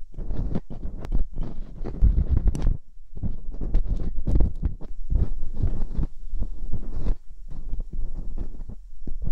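Metal dental picks scratch inside the ear canals of the silicone ear molds on a binaural microphone. The result is a dense run of close, muffled scraping and rubbing bursts, heavy in deep low rumble, with a brief pause near the three-second mark before the scratching resumes.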